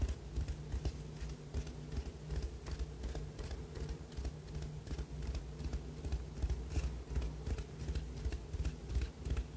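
A small white ribbed ceramic cup, hollow and empty, is held up and tapped and scratched with the fingernails of the other hand. Quick, dry clicks and scraping ticks repeat in an uneven rhythm with almost no ring, over a steady low hum that fills the bottom of the sound.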